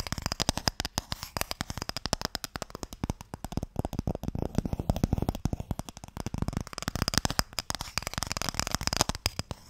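A small, closed, pale wooden Mikado box, hollow and holding sticks, is held in both hands and tapped and scratched with fingertips and nails. A rapid, steady run of short, dry taps with a hollow low thump sits under a bright, scratchy rasp. Each tap dies away almost instantly.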